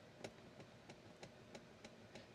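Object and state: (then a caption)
Loose car seat mount. The driver's seat of a WRX is wiggled by hand, giving a steady series of sharp, quiet clicks roughly every third of a second. The seat mount is loose, likely from a screw behind the seat that can be spun by hand, while the passenger seat is solid.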